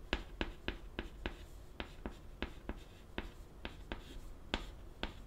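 White chalk held in the fingertips writes a line of Japanese text on a flat, solid, wooden-framed black chalkboard. About fifteen quick, sharp taps and short scratching strokes stand out clearly, each bright and dry with almost no ring, over a quiet low rumble.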